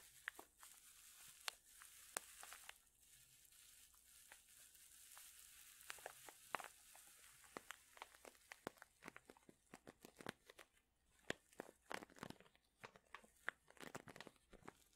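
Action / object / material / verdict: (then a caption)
scrape / plastic zip bag filled with soft wool / plastic / none. A medium clear plastic zip bag full of soft purple wool fibre is squeezed and crinkled with fingertips and long nails. Quiet, bright crinkling and sharp plastic snaps and clicks rise over a soft steady hiss, growing busier and denser toward the end.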